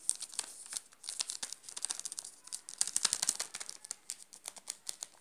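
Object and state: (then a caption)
Plastic chocolate bar wrapper. Fingertips scratch and crinkle the shiny yellow plastic wrapper of a sealed, full Garoto chocolate bar. The result is a dense run of quick, dry, bright crackles and rustles with almost no low end, each tick dying away at once.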